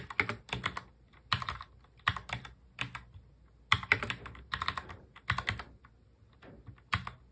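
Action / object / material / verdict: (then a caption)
tap / plastic mechanical keyboard / plastic / none. A full-size black mechanical keyboard with plastic keycaps is touch-typed with both hands, fingertips tapping the keys. Quick, bright clacks with short, dry tails arrive in uneven bursts and clusters, with brief pauses between them.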